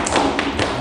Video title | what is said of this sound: [NASS] Kabelschlitze richtig verputzen 2021 | so eine Klopfe klingt das hier auch noch ein bisschen hohl